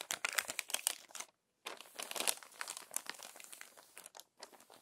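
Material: Glossy paper.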